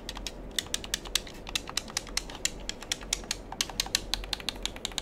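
A black handheld plastic gamepad with a hollow shell has its buttons and triggers clicked and pressed by fingertips. The result is a rapid, irregular run of sharp, dry, bright clicks with almost no ring, over a low, steady hum.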